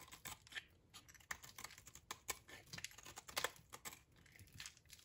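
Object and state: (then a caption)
Dry soap bar being shaved. A utility knife blade shaves curls off a solid, dry, oval soap bar with purple and pink stripes held in the hand. The cuts make quiet, bright, crisp crackling and scraping with many short, dry snaps and almost no ring or low end.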